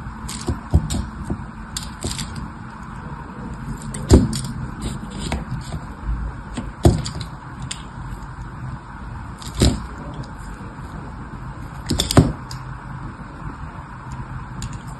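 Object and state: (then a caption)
Bar soap being scored. A thin metal tool scratches and scores crosshatch lines into the surface of a solid rectangular red bar of soap, held by fingertips among a grid of soaps. Dry, low scraping continues throughout, broken by sharp crackling clicks and a few louder snapping cuts.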